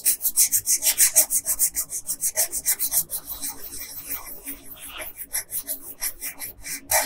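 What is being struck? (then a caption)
Wooden colored pencil on a paper sheet. A yellow wooden colored pencil, held by a hand with long pink nails, shades the hair on a thin paper coloring sheet lying flat on a table. About twenty quick back-and-forth rubbing and scratching strokes come in a steady rhythm, each a bright, dry, papery hiss. The strokes soften briefly in the middle before picking up again.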